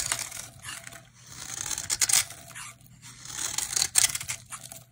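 A utility knife blade shaves curly flakes off a solid, hand-sized dry green bar of soap held in the hand. The cuts make crisp, bright scraping and crackling strokes that swell and fade in irregular bursts, with almost no low end.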